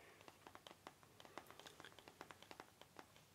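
A Star Wars Complete Saga Blu-ray box set, a rigid, book-sized cardboard box that is hollow and holds discs, is held up in one hand and tapped with the fingertips of the other. About twenty quick, quiet taps come in an uneven rhythm, each a short, hollow, mid-pitched tick with a bright edge that dies away almost at once.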